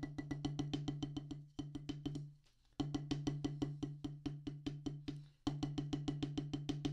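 Two wooden drumsticks tap rapidly on a solid black rubber practice pad on a wooden base, giving short, dry thuds with a low body and a faint pitched tone near 290 Hz. About 38 quick, even taps come in three bursts, with a brief near-silent pause after the first two bursts, and each tap dies away almost at once.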